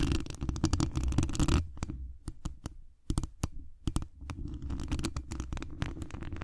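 Long acrylic nail tips scratch and tap the hollow mesh wire dome grille of a large condenser microphone. Dense, low, rumbling scratching fills the first second and a half, then gives way to separate sharp taps before the scratching builds again toward the end.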